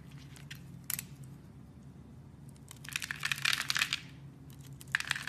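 A metal blade carves small scored cubes off a solid black and white striped soap bar held in the hand. The cuts make crisp, bright crunching and scraping bursts: a short snap near the first second, then a dense, crackling run of cuts in the middle and a few sharp clicks at the end, over a faint low hum.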